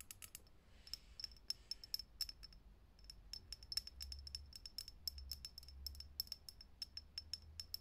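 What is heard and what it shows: Long fingernails tap quickly on the thin, hollow clear glass globe of a lit vintage Edison-style filament bulb mounted in a socket. Dozens of crisp, dry clicks follow one another, each carrying a brief, bright glassy ping that dies almost at once, over a faint low hum.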